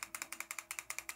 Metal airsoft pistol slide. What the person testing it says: ein bisschen schütteln klapperts leider ein bisschen